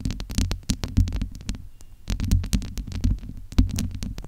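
Cupped hands and long nails rub and scratch the domed, hollow steel-mesh grille of a large USB microphone. This produces a rapid, irregular stream of deep, booming thuds around 94 Hz. Sharp, bright scratchy clicks and rustling swells run between them.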